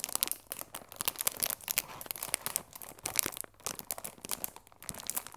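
A medium rectangular Bonomelli chamomile tea box, cardboard sealed in clear plastic film, closed and likely full of tea bags, is held in both hands while long red-painted nails and fingertips rub and scratch the film. The result is a quiet, steady stream of bright, crisp crinkling and scratchy bursts with almost no low end and no ring after each touch.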